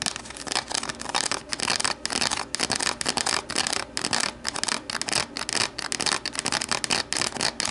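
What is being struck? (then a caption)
Plastic deli container. Long nails tap and scratch rapidly against the sides of an empty, hollow, translucent plastic deli container standing upright. The sound is a dense, bright run of crisp plastic clicks and rasping scrapes that come in short bursts, sitting mostly in the high frequencies with almost no low end.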